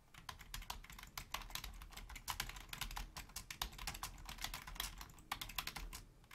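A full-size black plastic Logitech membrane keyboard with a hollow housing is typed on rapidly with the long fingernails and fingertips of both hands. The sound is a dense stream of short, bright clicky taps with very little ring over a faint low hum.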